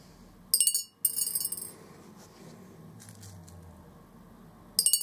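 Orange plastic BB balls drop one at a time from above into a large, hollow, clear glass jar resting on carpet, bouncing on the glass bottom. Three bursts of bright, rapid clinking and chinking ring out as each ball bounces and settles, separated by quiet low hiss.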